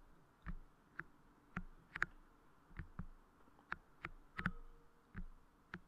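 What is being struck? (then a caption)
Soft clear putty clay moulded over a microphone grille. Fingertips and nails tap, press and squish transparent soft crystal clay putty moulded over the head of a Blue Yeti microphone. About a dozen soft, close-up sticky taps and squelches come at irregular intervals, each with a brief bright click over a low, muffled thud, against a quiet background hum.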